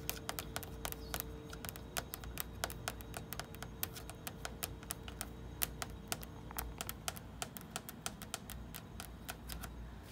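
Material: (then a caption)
Sheet metal. Long red nails tap and scratch on a small flat photo magnet and across the hollow door of a black metal mini fridge. Dozens of quick, sharp, dry clicks with almost no ring sound over a steady low hum, with a faint scratchy texture between taps.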